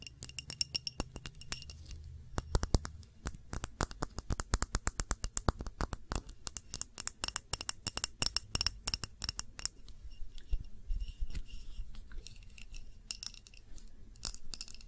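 Long nails tap and scratch the sides of a glass candle jar, a clear glass tumbler filled with red candle wax. The result is a rapid, uneven run of sharp, dry clicks with brief bright glassy tones and soft scraping between them, over a low hum throughout.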